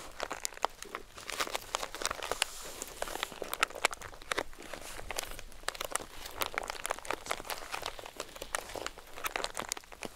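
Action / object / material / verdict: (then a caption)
scrape / composition notebook with cardboard cover and crinkled paper pages / paper / none. Long acrylic nails tap and scratch across the marbled cardboard cover of a composition notebook with thick crinkled paper pages and press its crinkly page block. The result is a dense, steady stream of crisp, bright clicks and dry crinkling rustles with almost no low end.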